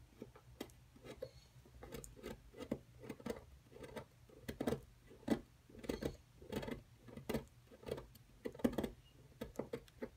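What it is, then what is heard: Plaster block being chipped. A wooden-handled metal chisel scrapes and chips at the edge of a solid plaster excavation block. It makes a quick, irregular series of short, dry scratches and crumbly taps with a muted low-mid body and almost no ring. A faint steady low hum runs underneath.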